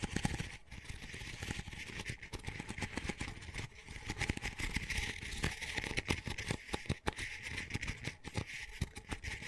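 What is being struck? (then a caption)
Double-wall paper coffee cup. Fingertips and nails rapidly tap and scratch the textured dotted outer layer of an empty, small, hollow double-wall paper coffee cup. It makes a dense, continuous run of dry, crisp clicks and papery scratching, with soft hollow low thumps under a bright rasp. The sound stays busy and fairly even for about nine seconds, each tap dying away almost at once.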